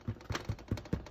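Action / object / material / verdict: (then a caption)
tap / sourdough bread loaf / bread crust / hollow. A baked sourdough loaf, flipped over after a 45-minute bake, is tapped several times on its bottom, giving short, dull, low thumps that fade almost at once. The hollow sound shows the loaf is baked through; an internal temperature of 200 degrees is another check for doneness.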